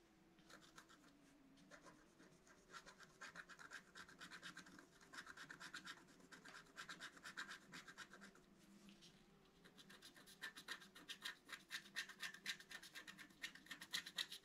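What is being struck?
Black-coated scratch art card scratched with a wooden stylus.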